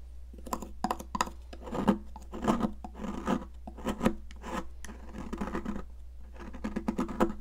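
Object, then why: Stick of sidewalk chalk scraped with a metal blade. A metal palette knife scrapes a solid, yellow, popsicle-shaped stick of sidewalk chalk up close, leaving a pile of yellow powder. Short, dry, gritty scrapes come in quick bursts over a steady low hum, with faint music possibly in the background.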